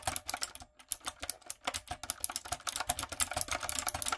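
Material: Plastic.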